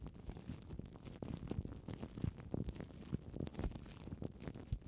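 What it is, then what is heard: Plastic cling film crinkled over a microphone. Long painted nails scratch and crinkle loose clear plastic cling film wrapped over foam microphone windshields. The result is a dense, continuous run of soft, deep, muffled crackles and rustles, with occasional brighter, sharper ticks.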